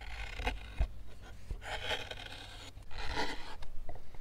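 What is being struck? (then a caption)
Pine wood block carved with a hook knife. A hand-held steel hook knife scrapes and shaves the inside of a deep round hollow carved into a pine softwood block. Rasping, bright scraping strokes come in uneven bursts over a steady low rumble, growing louder and denser toward the end.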